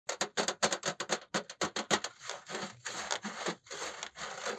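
A large, flat black laptop cooling pad, with a single big fan under a perforated metal mesh top and a plastic frame, is held upright and tapped and scratched with the fingertips of both hands. First comes a quick run of sharp, bright taps, then longer rasping scratches that swell and fade across the mesh.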